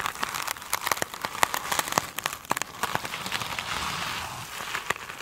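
Long pointed nails of both hands scratch a soft, solid rectangular foam sponge with a glittery woven cover standing on a table. The result is a dense, bright crackling and crinkling with sharp clicky taps, easing into a steadier scratchy hiss midway before the crisp clicks return.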